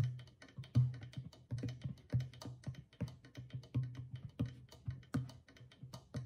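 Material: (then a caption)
Clay, goatskin. A small hollow clay drum with a stretched goatskin head, held at the side, is tapped on the skin near the far rim with long fingernails. The taps come in a loose, uneven rhythm, each giving a soft, low, hollow thump around 125 Hz with faint clicky fingernail edges. Each thump dies away quickly.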